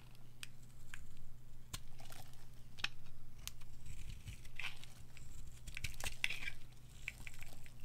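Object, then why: Bar of soap scraped with a metal blade. A white oval bar of dry soap is held in a hand with long nails while a metal blade carves and scrapes it, shaving off white flakes. Crisp, crumbly scraping strokes rise and fall in repeated swells, dotted with sharp, bright clicks and crackles. A steady low hum sits underneath throughout.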